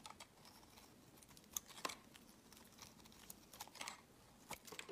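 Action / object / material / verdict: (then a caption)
scrape / round bar of soap cut with a blade / soap / none. A solid, round, palm-sized tan bar of soap is held in the hand and shaved with a utility-knife blade, peeling off thick curled shavings. Quiet, bright, crisp scraping and crackling bursts come in irregular clusters over a soft, dry background.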